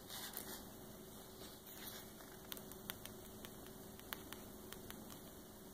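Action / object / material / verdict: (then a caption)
tap / glossy paper page of a large hardcover book / paper / none. Long painted nails and fingertips tap and scratch the glossy photo page of a large open hardcover coffee table book lying flat, with no page turning and possibly rings clinking on the fingers. About eleven short, bright, crisp taps ring out among soft scratching over a steady high-pitched whine and low hum. The sound stays quiet and close throughout.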